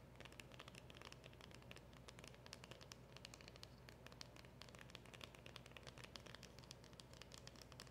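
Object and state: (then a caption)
Hollow cardboard box. Long acrylic nails tap fast on the front of a small, hollow black cardboard packaging box with a round emblem sticker. A steady stream of quick, dry, bright clicks rides over a soft low rumble, with no ring after each tap.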